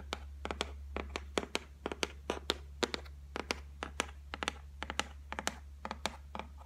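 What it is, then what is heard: Laminated shelf tapped with fingernails. Long white nails tap about 27 times in an irregular, rapid run on the flat top of a solid white laminated shelf. Each tap is a short, dry click with a bright edge and almost no ring, over a steady low hum.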